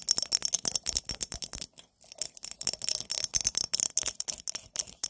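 A pumpkin-themed glass mason jar is tapped with fingernails, making rapid, bright clicks with almost no low end and very short ring. The taps come in quick bursts, with a brief pause near the two-second mark.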